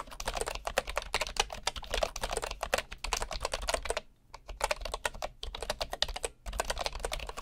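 Fingertips of one hand type steadily on a full-size bamboo wood computer keyboard with a hollow body and solid wooden keys. The keys give rapid, dry, bright clacks that stop almost instantly, over a faint low hum. The typing pauses briefly twice before resuming at the same pace.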